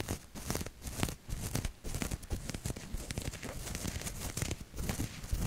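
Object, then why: Cotton t-shirt fabric. Long nails scratch across the chest of a maroon cotton t-shirt with a printed maple leaf, held up in front of the mic. The result is a dense run of dry, rasping scratches and crinkly fabric rustle in quick uneven bursts, with a soft low thump beneath and bright, hissy edges.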